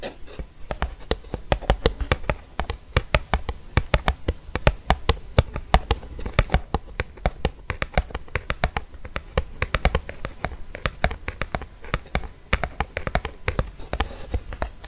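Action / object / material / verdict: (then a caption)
tap / lip balm in a plastic blister on a cardboard card / plastic / none. Fingernails rapidly tap a small eos lip balm stick sealed in a clear plastic blister on a printed cardboard backing card, held in the hand. Quick, dry plastic ticks and crinkly clicks come in irregular bursts over a soft, low thumping body, each tap dying away almost at once.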